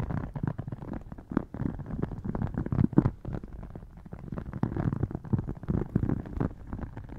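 A rigid red faux crocodile-embossed leather wallet stands partly open on a lap while long dark painted nails tap and scratch its textured covers. The sound is a dense run of soft, low, muffled taps and scratchy rubs with little high content, fading and returning over the clip.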